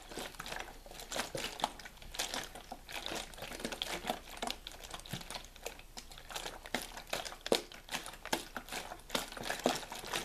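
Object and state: Plastic water bottle being crinkled.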